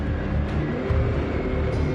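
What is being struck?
Nothing is struck.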